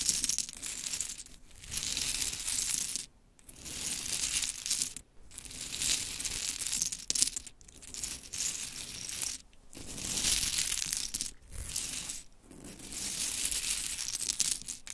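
Long chrome nails scratch, tap and shuffle a pile of small pink mini wooden clothespins on glittery fabric. The result is a bright, dry clicking and rattling that comes in steady bursts separated by short quiet pauses, with very little low end.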